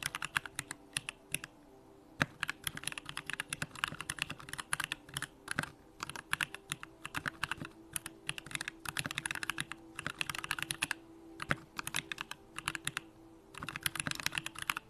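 Fingertips type continuous key presses on a Bakeneko65, a 65% mechanical keyboard with a hollow aluminum case, Durock lavender switches and pink plastic keycaps. Rapid, bright, clacky keystrokes come in quick bursts, each decaying almost instantly, with brief pauses between runs and a faint steady hum underneath.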